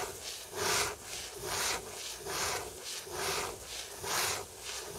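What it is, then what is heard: Paperback book card cover scratched. About six slow, even scraping strokes rise and fade, each a broad breathy hiss reaching into the high range with almost no low end. A fingernail dragging over the smooth card cover of a closed paperback gives this dry, papery rasp that stops dead between passes.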